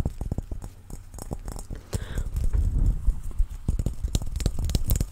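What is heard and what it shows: A large, hollow, head-sized clear plastic ball with a dimpled surface and colorful print or confetti inside is held in both hands close to the mic and tapped with fingertips and nails. About 19 short, deep, hollow thumps come in an irregular rhythm, with a soft rubbing swell in the middle and a few bright clicky nail taps near the end.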